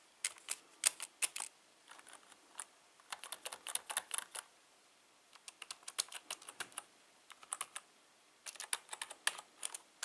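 Fingertips of one hand type rapidly on a full-size black plastic Logitech K120 membrane keyboard with Cyrillic and Latin labels, its hollow plastic housing resting on a tablecloth. About 36 short, bright plastic clicks come in quick bursts separated by brief pauses. Each keystroke dies away almost instantly, with no low-end thump.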